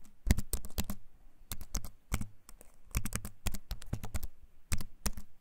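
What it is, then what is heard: Wooden-frame keyboard with plastic keys. A compact keyboard with a wooden frame and plastic keys is held up close and typed on with fingertips, producing a run of sharp, clicky keycap taps. The clicks come in quick clusters with brief pauses, each tap crisp and short with a bright top and a soft low thump beneath.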